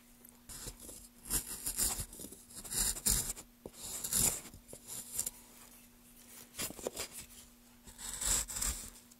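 A wooden-handled gouge is drawn along the grooves of a solid pale wood block held in gloved hands, carving it. A series of short, bright scraping and shaving strokes rises and falls over a faint, steady low hum.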